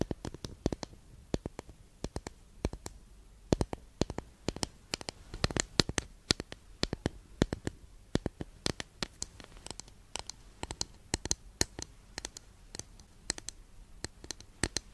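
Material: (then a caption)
Wood. Long nails tap and scratch the surface of a long, flat, solid wooden incense holder held at an angle. Dozens of quick, dry, sharp taps fall in an uneven rhythm, each stopping almost at once, with bright edges and faint scratching in between. The taps stay soft and close, with a low, woody body under them.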